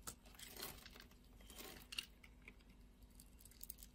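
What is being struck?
Glycerin soap bar scraped with a knife blade.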